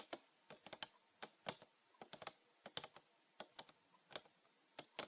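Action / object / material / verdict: tap / plastic bottle with liquid inside / plastic / none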